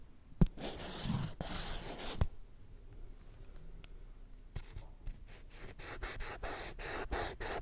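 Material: Plastic.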